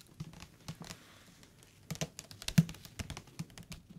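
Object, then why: Hardcover paper book. Fingertips tap the spine and cover of a thick hardcover paper book held upright, giving about eighteen quick, soft taps at an irregular pace. Each tap is a short, dull, low knock with a faint bright click that dies away almost at once, over a quiet background.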